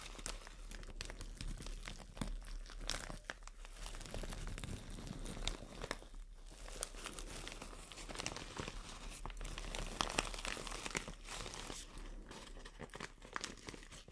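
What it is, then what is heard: Plastic shower cap being crumpled. A white printed plastic shower cap is bunched in the hands while fingers and long nails crumple it. The result is a steady, dense crinkling with quick, bright rustles and snaps over a constant low hum throughout.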